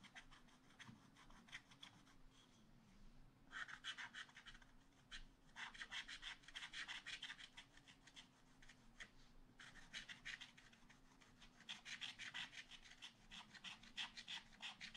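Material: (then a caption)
Coated card. A wooden stylus held in the fingers scratches the black coating off a card page with a bunny picture in a spiral-bound scratch-art book lying flat on a table, working in small strokes over the same area while the other hand steadies the book. Quick, bright, raspy scratches come in rapid bursts of about three strokes per second, pausing briefly between bursts, over a faint steady low hum.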